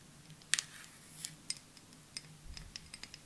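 A clear glass perfume bottle with a white cap, held sideways in both hands, is tapped with long nails. Nine light, sharp clicks with a high, glassy ring fall at irregular intervals and fade almost instantly into quiet background hiss.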